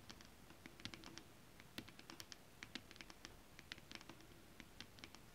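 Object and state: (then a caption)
Holographic scale-pattern fabric tapped with nails. Long acrylic nails tap and scratch a flat, holographic foil mermaid-scale fabric. The result is a quiet, irregular patter of short, dry, bright clicks with faint scratchy texture between them.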